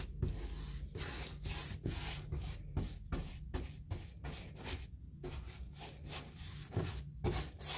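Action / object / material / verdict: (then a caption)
scrape / molded fiberboard interior door / fiberboard / none. A hand-held paint brush is stroked across the surface of a large white six-panel interior door: a painted, wood-grain-textured molded fiberboard door, likely hollow-core hardboard. About twelve scratchy, brushing rubs come in a loose rhythm, each a broad hiss reaching bright highs over a steady low hum.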